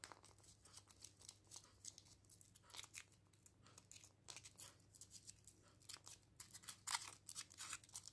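Medium painted fingernails scratch and pick along the surface and seam of a small hollow chocolate egg in a printed aluminium foil wrapper, held over artificial grass. The result is a quiet, dense run of bright, crisp crinkling and scratching ticks with almost no low end and no ring after each touch.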